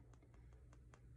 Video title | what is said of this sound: Leatherhard and bone dry clay | you have a bone-dry piece of clay if you tap on it you can hear it's very hard